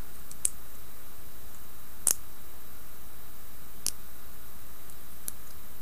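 Long nails tap and scratch the front and base of a hand-sized, solid, dark reddish-brown carved wooden seated Buddha figurine. A few sparse, crisp, high clicks stand out against a quiet, steady low hum.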